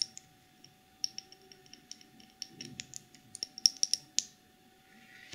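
Long polished nails scratch and tap the black plastic screw lid and sides of a small clear cosmetic jar filled with pink glitter. The result is a series of sharp, bright, dry clicks and brief scratches with almost no ring, spaced irregularly over a faint steady hum.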